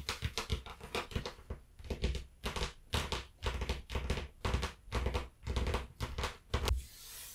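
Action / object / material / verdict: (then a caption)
tap / cloth-covered hardcover book / cloth, board / none. Long nails of both hands tap on the cover of a closed, solid, blue cloth-covered hardcover book lying flat. The taps come in quick, uneven bursts, each a dull, low thud with a clicky edge that dies away fast. The clip fades into a soft hiss at the end.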